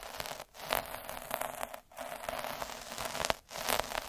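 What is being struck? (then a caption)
Felt cloth sheet under a metal-needle roller. A hand rolls a black derma roller with metal needles across a thin red felt cloth sheet, scratching the surface. It makes a continuous, bright, crackly scraping hiss, broken by three brief silent gaps as the roller pauses between passes.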